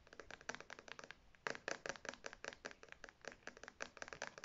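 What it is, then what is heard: Faux leather wallet tapped and scratched. Long red nails rapidly tap and scratch the front panel and metal logo plate of a beige faux leather zip wallet held upright. About 28 short, dry, bright clicks run together with scratchy rustle between them, sitting mostly in the upper mids with almost no low end. Each tap dies away almost instantly, and the overall level stays quiet.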